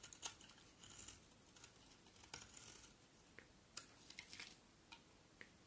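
A solid white bar of soap held in the hand is carved with a utility knife blade. Quiet, crisp scraping and shaving strokes come in short bright bursts, separated by faint background hiss.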